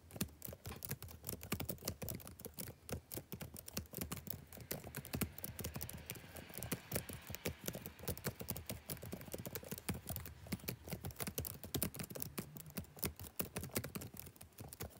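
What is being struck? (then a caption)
Plastic laptop keyboard. Fingertips type steadily on a black plastic backlit laptop keyboard for fifteen seconds. The result is a dense, continuous patter of short, soft key clicks with quick decays and a low-heavy tone.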